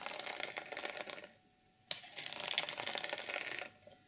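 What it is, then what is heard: Sequin fabric cover scratched with nails. Long nails scratch across a flat, reversible sequin fabric journal cover, flipping the sequins. The result is dense, bright, rapid scratchy clicking that drops to near-silence for about half a second, restarts with a sharp click, and runs on before fading.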